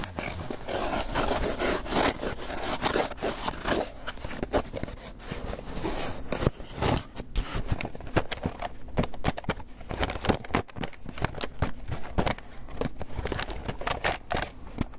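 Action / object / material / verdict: scrape / polystyrene foam takeout box / polystyrene foam / none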